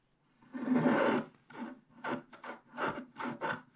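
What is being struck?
Wax-coated scratch-art paper and wooden stylus.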